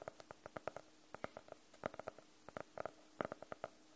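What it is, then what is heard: Faux-leather hardcover notebook, tapped. Fingernails tap and scratch on the cover of a closed, solid navy faux-leather hardcover notebook. About 22 quiet, crisp taps come in uneven clusters, each with a dull mid-range knock near 600 Hz and a faint bright click. The taps die away almost instantly, with light scratching between them.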